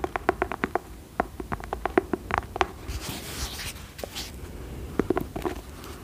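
Long acrylic nails tap and scratch the cream fabric cover of a cloth-bound hardcover book with a dark label. A quick run of short, dull taps is followed by a stretch of soft, hissy scratching across the cloth, then a few more taps.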